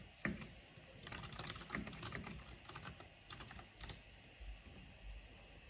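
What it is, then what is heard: Plastic mechanical keyboard. Fingertips and long painted nails type and tap at a slow pace on the keys of a black plastic mechanical keyboard with a purple backlight. Sharp, bright clicks come in an uneven series, each dying away almost instantly over a faint low background.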